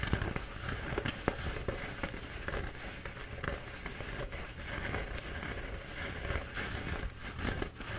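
A bee-printed paper towel roll is held in both hands while nails and fingertips scratch its embossed paper. A steady, soft crinkling and scratching texture runs throughout, broken by brief, sharp crackling ticks, with a low rumbling body and little brightness.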